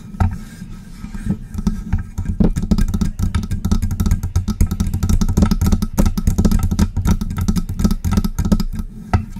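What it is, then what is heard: Metal microphone scratched with nails. Long press-on nails scratch and rub up and down the body of a hollow, silver metal USB microphone. The result is a dense stream of quick, dry clicks and scraping taps over a steady low, boomy rumble, with each click dying away almost instantly.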